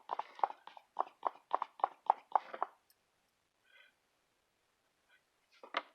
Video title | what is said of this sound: CLOTHMan - The Birth of an Evolution #1 | I haven't cut off the all of the back so it sounds hollow